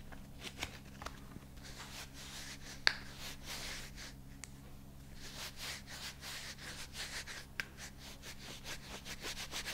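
Bare fingertips rub and stroke across the fingers and palm of a thin, hollow, light green rubber dishwashing glove worn on the other hand. Soft, bright brushing and squeaky rubbing swells and fades over a steady low hum. Five short, sharp ticks stand out, the loudest near the three-second mark.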